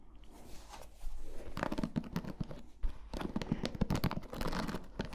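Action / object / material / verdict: scrape / plastic paddle hairbrush with bristles / plastic / none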